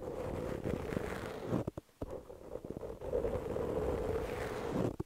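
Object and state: Foam microphone windscreen being scratched.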